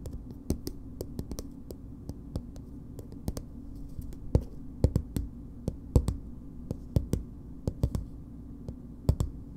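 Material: Plastic.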